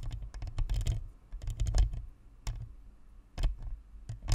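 Long nails on both hands scratch and tap along the sides of a white, hollow plastic Blue Snowball USB microphone near its metal grille. The result is irregular bursts of quick, dry clicks and scratches, with bright ticking tops over a heavy, boomy low thump picked up by the mic. Short quiet gaps separate the bursts.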